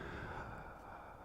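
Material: Nothing is struck.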